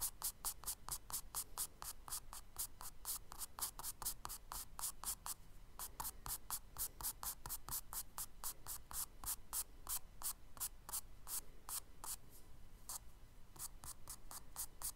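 A charcoal stick scratches quick hatching strokes across the solid surface of a tan kraft paper page in a spiral sketchbook. About fifty short, dry, bright scratches come in a fast, steady rhythm, with brief gaps near 5.5 and 12.5 seconds. A faint low rumble runs underneath.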